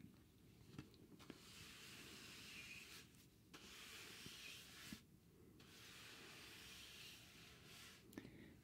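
A thin, rectangular grey cardboard sheet held in the hand is brushed or rubbed across its surface, making a steady, bright, scratchy hiss. The strokes pause briefly twice, and a few soft clicks and taps stand out from the quiet rubbing.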